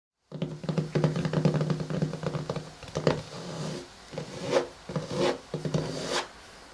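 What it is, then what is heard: Hardcover journal, tapped and scratched. Fingertips and short nails of both hands tap and scratch the front cover of a pink hardcover daily journal, a solid closed book with a cardboard cover wrapped in matte paper or cloth, lying flat on a wooden table. Quick, dull taps with a low, hollow thump run in dense bursts, then give way to softer scratching swells with a brighter rasp.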